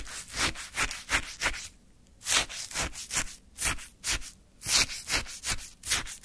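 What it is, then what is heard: Frozen orange sherbet scraped with a wooden stick. A wooden stick scoops and scrapes through a small paper cup full of icy, frozen orange sherbet. About a dozen short, crunchy, bright scraping strokes come in a quick uneven rhythm, with a brief pause near the two-second mark.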